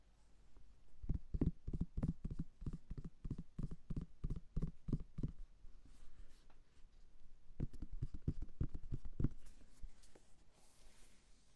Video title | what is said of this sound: ASMR - Triggers fruits et légumes pour dormir rapidement | ça sonne creux et c'est ça que je trouve agréable